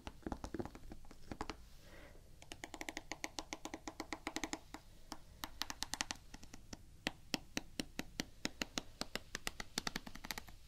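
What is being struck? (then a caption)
Rubber shoe sole. Long painted nails tap and scratch the gum-brown, waffle-pattern rubber outsole of a canvas Vans sneaker held in one hand. Quick, sharp, dry clicks come in irregular bursts over a soft, grainy scratching. Each tap dies away almost instantly.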